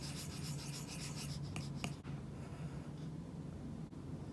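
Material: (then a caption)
Plastic film. A stylus tip is dragged in drawing strokes across a glass iPad screen fitted with a matte, paper-like plastic screen protector, while a hand rests near the surface. Quick, rhythmic scratchy strokes with a bright, papery rasp are followed by two light taps, then softer, steady scratching over a low, constant hum.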